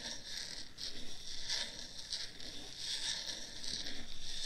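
Long acrylic nails continuously scratch and rub the white silicone ears and the top of the black plastic/foam body of a hollow, head-width, 3Dio-style binaural ear microphone. The result is a steady, close, bright rasping scratch that swells and fades in uneven bursts over a faint low rumble.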